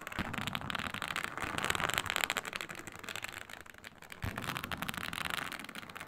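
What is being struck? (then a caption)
Snakeskin-textured faux leather sheet. Long nails scratch across a flat, iridescent snake-scale synthetic leather mat, producing a dense, dry, crackling rasp with bright high-frequency texture. The scratching runs almost continuously in rapid, irregular strokes, easing slightly near the middle before picking back up.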